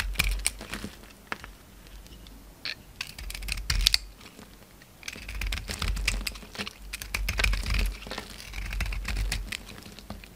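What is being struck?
Soap bar cut with a knife blade.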